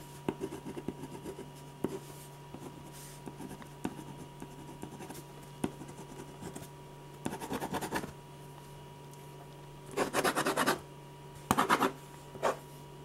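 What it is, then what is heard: Pen scratching on drawing paper. A metal ballpoint pen tip scratches line strokes across a large sheet of white drawing paper resting flat and solid on a firm board. Faint, light ticks and short strokes give way to longer, louder bursts of dry, gritty scratching near the end. A steady low hum runs underneath throughout.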